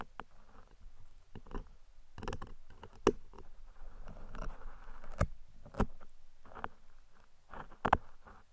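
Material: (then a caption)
Foam. Metal tweezers drag and pick across the top of a large black foam windscreen covering a microphone, held by fingers with long red nails. Soft, close scratching and rustling is punctuated by sharper clicks and plucks, mostly low and muffled with little high end. Several louder picks stand out against the steady scraping.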